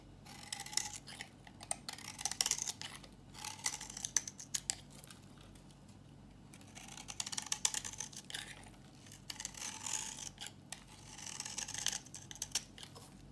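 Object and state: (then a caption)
Dry bar soap being shaved. A metal utility-knife blade scrapes and shaves curls off the surface of a solid, dry, old yellow bar of soap held in the hand. Bursts of dense, crisp, bright scraping come in two main waves separated by a quieter pause, each made of many rapid dry shaving strokes with no ring after them.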